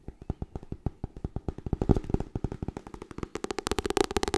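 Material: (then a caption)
Paper. Fingernails tap fast on the cover and top edge of a white softcover copy of the book *Getting Things Done*. About 28 quick, dry taps with a low papery thump follow one after another with almost no ring. The taps grow denser and brighter toward the end.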